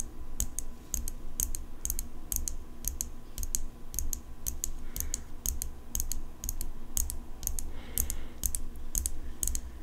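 Long fingernails tap the blade of an open steel folding pocket knife held close to the microphone. Quick, sharp, bright metallic ticks come in an uneven stream, each dying away almost at once. Underneath runs a steady low rumble.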